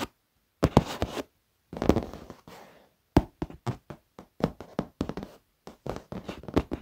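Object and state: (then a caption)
Leather office chair. Fingertips and short nails tap and scratch across the surface of a black padded leather office chair, with both hands resting on it. Dull, low thuds come in uneven clusters, mixed with brief rustling scrapes and bright clicks from the nails, each dying away almost instantly.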